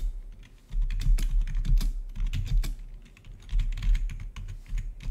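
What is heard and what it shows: Fingertips of both hands type rapidly on the keycaps of a full-size black plastic membrane-style gaming keyboard with blue-to-red RGB backlit keys. The result is a fast, irregular stream of soft clacking keystrokes with a deep, thumpy low end and bright, sharp key-tap transients. The keystrokes come in dense bursts with brief lulls between them.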